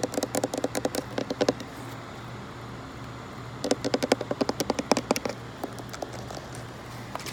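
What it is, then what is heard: Plastic pump spray bottle. A green, hollow plastic insect repellent pump bottle with an orange nozzle, lying on a fabric mat, is tapped and scratched with long nails. Quick, sharp clicky taps come in two rapid bursts, one at the start and one in the middle, separated by a quiet pause. A faint low, steady hum runs underneath throughout.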